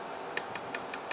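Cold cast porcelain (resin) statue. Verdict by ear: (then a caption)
Plasticky. A statue sold as cold cast porcelain (resin mixed with porcelain powder) is tapped five times, giving light, high clicks with a short bright ring. The taps sound like plastic rather than porcelain, and the statue is not as hard or heavy as other cold cast porcelain statues.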